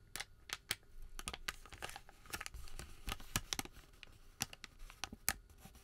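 A wrinkled, thin white thermal paper receipt is flexed and crinkled between fingers. It makes a quiet stream of sharp, bright crackles and snaps, with soft rustling between them, and each crackle cuts off almost at once.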